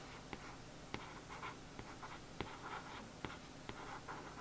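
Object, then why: Paperback book cover, glossy printed card. A thin paintbrush traces and scratches over the printed letters on the glossy printed cardboard cover of a paperback watercolour book lying flat on a table. The result is a soft, continuous dry scratching with a solid, flat character. Brief sharp ticks are scattered irregularly through the quiet brushing.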